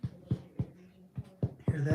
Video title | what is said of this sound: Bro Tito is live! | if you tap it, hear that? It sounds hollow